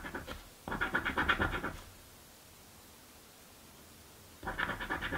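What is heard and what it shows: A coin scratches the letter squares of a crossword paper lottery scratch ticket held flat on a dark table. Bursts of dry, rapid, gritty scraping come in short strokes with a bright, papery edge. The scratching stops for a quiet pause of about two and a half seconds, then resumes.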